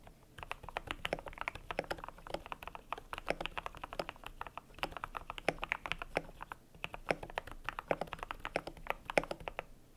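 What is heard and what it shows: Fingertips type steadily on a cream compact mechanical keyboard with PBT plastic keycaps. Each keystroke is a short, crisp clack centered in the midrange with a bright edge, dying away almost instantly. The presses run in a continuous, uneven patter for the whole clip.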